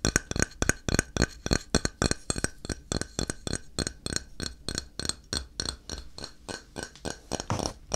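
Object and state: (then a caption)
Ceramic tile, solid. A flat, solid grey ceramic tile held in the hand is tapped and scratched with fingertips and nails. About thirty quick, uneven taps land as short, dry clicks with a bright, glassy edge and no ringing, while faint scratching fills the gaps between them.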